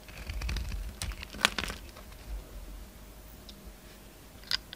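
A utility knife blade peels curls off a hand-sized, solid oval bar of soap with a purple glitter coating and orange interior. The result is a series of soft, dry crunching and scraping clicks with bright crackle. A sharper snap comes early, and a final brief scrape comes near the end.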